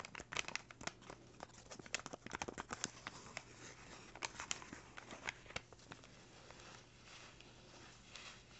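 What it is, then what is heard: Paper bag crinkling. A small, empty brown kraft paper bag lying flat is scratched and crinkled with fingertips and nails near its folded top. Dry, bright crackles and sharp scratchy snaps come in quick clusters for the first several seconds, then ease into a quieter, steady papery rustle.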